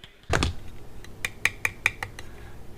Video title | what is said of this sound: Blenders Eyeware "Red Strike" Sunglasses Review | These sound a little more solid.